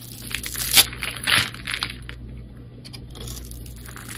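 A metal blade scores and scrapes a solid oval red soap bar with white stripes, held in the hand, so crumbly chips come off. Bright, dry crunching and crackling scrapes peak early in two louder strokes, then fade into softer, fine scratching over a low steady hum.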